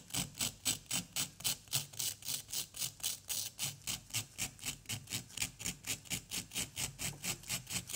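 A small, solid orange plaster excavation block is scratched with a pointed wooden stick in a steady back-and-forth rhythm of about four strokes per second. About 32 separate, bright, rasping scrapes are heard, each fading quickly, with a faint low hum beneath.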